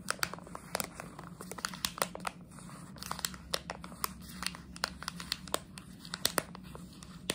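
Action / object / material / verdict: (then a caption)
scrape / plastic candy bag / plastic / none. A plastic jelly bean bag is squeezed, crinkled and scratched with long nails, giving dense, bright crinkling and quick sharp crackles that stop almost instantly. A soft, steady low hum runs underneath throughout.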